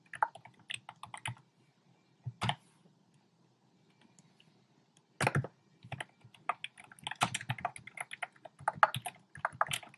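A compact plastic mechanical keyboard with round pink, red and cream plastic keycaps in a dark frame is typed on rapidly with fingertips and short painted nails. The result is bursts of short, sharp clacks, with a pause near the middle, and then steadier, denser typing toward the end.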